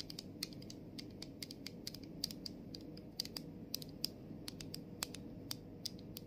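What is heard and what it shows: Long nails tap rapidly on the clear plastic body and the label of a body mist bottle held in both hands. The result is a steady stream of sharp, bright clicks with almost no ring, over a soft low rustling bed.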